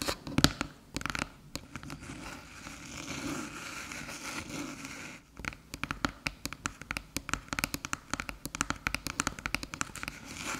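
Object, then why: Aluminium USB hub. Long silver nails rapidly tap and scratch the top of a small, flat, hollow silver aluminium USB hub resting on a dark table. Sharp, bright clicking taps with almost no ring open the clip, then give way to a few seconds of softer, continuous scratching. A dense run of crisp, quick taps fills the rest.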